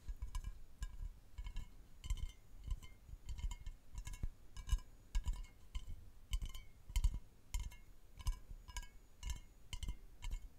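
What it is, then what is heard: Aluminium aerosol can. A medium hollow aluminium aerosol deodorant spray can with a paper-like printed label is held horizontally in front of a microphone and tapped and scratched along its body with fingertips and nails. Quick, uneven taps give dull low thumps with short, bright metallic clinks and pinging overtones that die away almost instantly, mixed with soft scratchy rustles between them.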